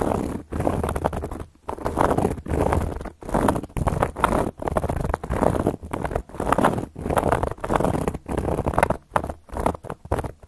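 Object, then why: Round cork coaster. Long gold metal claw nails scratch across a round, flat, solid cork coaster in a steady series of separate strokes with short pauses between them. Each stroke is a dry, rough scrape with a dull, muted body and very little bright edge.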